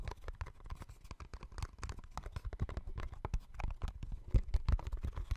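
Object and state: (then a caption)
Small cardboard box. A small, hollow yellow-and-white cardboard box is held close to the microphone and tapped and scratched with fingertips and nails. A rapid, continuous patter of soft, dry taps follows, with hollow low thumps underneath and brief scratchy clicks on top. Each tap dies away almost instantly, and the stronger taps cluster toward the end.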